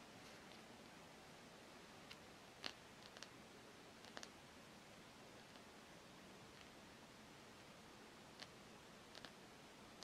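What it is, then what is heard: Rubber hockey puck. Long nails tap and scratch the flat face and edge of a solid black rubber hockey puck held over a jersey. About ten brief, bright clicks come in scattered clusters over a quiet, steady hiss, each dying away almost instantly.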